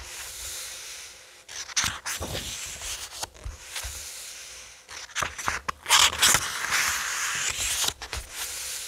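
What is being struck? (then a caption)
Paperback graphic novel with paper pages. Fingertips rub along the paper pages of a thick paperback graphic novel lying on a table and flip them over. Bright, papery rustles and soft swishes come in uneven bursts, with a few sharper flicks as the pages turn and steady light scraping between them.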